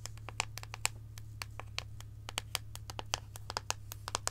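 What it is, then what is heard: Dark chocolate bar. Long acrylic nails scratch and tap a solid, embossed dark chocolate bar held close, giving about 26 quick, crisp, bright clicks with almost no ring. A steady low hum runs underneath.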